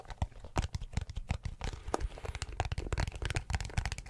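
A teal plastic glasses case, held in both hands next to the mic, is tapped and scratched with fingertips. A rapid, irregular run of soft, low, thudding taps is mixed with crisp, crinkly scratching. Each sound stops dead with no ring.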